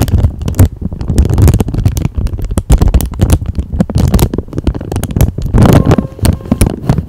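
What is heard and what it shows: A thin, flat, empty clear plastic packaging sleeve is held in both hands with long manicured nails and crinkled close to the microphone. It makes continuous dense crackling and rustling with a heavy, boomy low end, rising and falling in loudness over about seven seconds.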